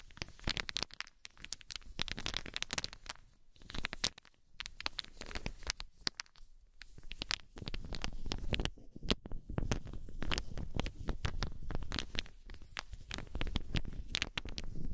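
Small solid wooden balls held in cupped palms are shuffled and shaken by hands with long nails, so they knock together. The result is a dense, continuous rattle of short dry clicks with bright edges over a soft low rumble, with brief quieter gaps near 1, 4 and 6 seconds before the rattling grows fuller and steadier.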